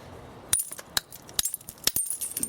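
A hammer taps repeatedly on an English flint nodule, giving a series of sharp, bright, high-pitched clicks that die away almost instantly. The spot sounds hollow, a sign of internal cracks, and further knapping confirms a crack running all the way through the nodule.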